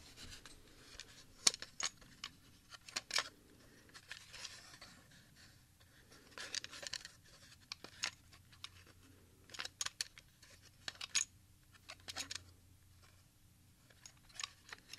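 A clear plastic Grandway 60-minute audio cassette, a small hollow transparent shell with tape reels inside, is held in both hands and squeezed and rubbed with the fingertips. Quiet, bright plastic clicks, creaks and light rubbing come in irregular bursts over a soft background. Each click is short and dry, with almost no low end.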